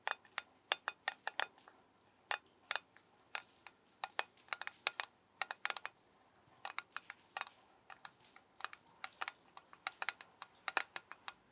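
A metal soap tin is tapped with the fingers in an irregular stream of short, crisp clicks. Each click dies away almost instantly. The taps are bright and sharp, with little low end, over a faint quiet background.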